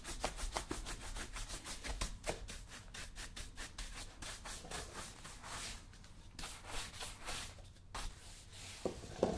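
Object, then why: Leather boot brushed with a bristle brush. A wooden-backed bristle brush is rubbed quickly back and forth over the leather upper of a brown leather lace-up work boot, worn on a foot resting on a shoe-shine stand. Each stroke makes a soft, bright, dry swish, repeating in a steady rhythm with a faint low rumble underneath.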